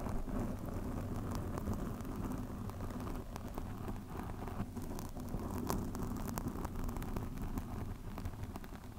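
Long nails on both hands scratch a black foam microphone windscreen, making a steady, dense, low rumbling rustle. Brief bright crackles flick through it, and the level stays even throughout.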